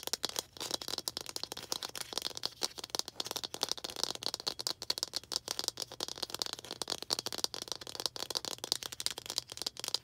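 A small hollow red plastic toy ball with baseball-style stitching is held in both hands and tapped and scratched with long green acrylic nails. A rapid, steady stream of dry, bright clicks and scratchy rustles continues for about ten seconds, with each tap dying away almost instantly.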